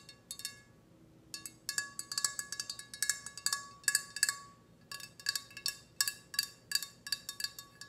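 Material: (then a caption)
Ceramic. A hollow, glossy red ceramic teapot with a spout and handle is tapped with long red nails. About 33 quick, bright clinks come in irregular bursts, each a short, high ring around 1.7 kHz that fades almost at once. There is no low-end body.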